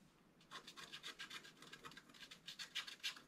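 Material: Coated paper.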